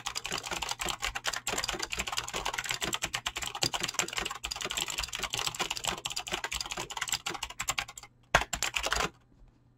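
Fingertips type rapidly and continuously on a backlit full-size mechanical keyboard with pink and blue PBT plastic keycaps and clicky green switches. The dense stream of sharp, bright clicks has a faint steady low hum beneath it. The typing pauses briefly near the end, resumes in a short burst, then stops, leaving near silence.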